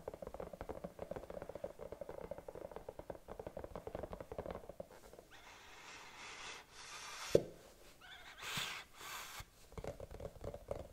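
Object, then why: Silicone bunny night lamp. Long nails tap rapidly and steadily on the round body of a hollow, glowing silicone bunny night lamp with a cord, giving soft, muffled, hollow knocks. Midway the tapping gives way to bright, hissing scratches and rubs across its surface, broken by one sharper tap. Quick taps return at the end.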